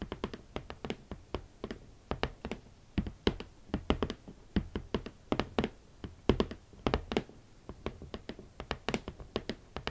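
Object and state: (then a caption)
Hollow cardboard shoe box lid. Long nails tap quickly on the hollow lid of a large, rigid red cardboard shoe box. Each short, dry tap has a hollow low thump and a bright click, dying out almost at once. The taps come in a steady, uneven stream, some louder than others.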